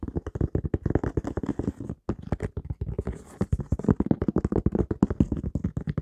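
An empty white high-top sneaker with a synthetic leather upper and a textured rubber sole is held in both hands while fingertips and nails tap and scratch its sole and upper. The result is a rapid run of dull, low, short-ringing taps mixed with brief scratchy rasps, with a short pause about two seconds in.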